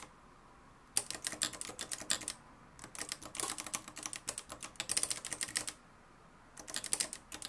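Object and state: Manual typewriter being typed on.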